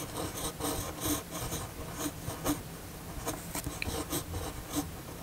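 The steel nib of a red fountain pen writes in cursive on a flat white paper sheet. It makes a steady run of soft, dry, bright scratching strokes that rise and fall in short bursts over a faint low rumble.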